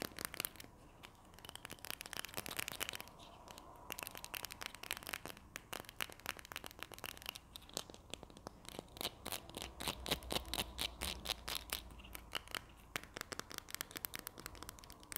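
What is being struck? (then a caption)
Plastic glue stick tube with paper label. Long nails scratch and tap along the paper label and body of a small, hollow, red and white Berlingo plastic glue stick tube with a cap. The result is a quiet, steady stream of dense, bright, crackly scratches mixed with quick, dry taps that stop almost instantly. A faint low rumble sits underneath midway through.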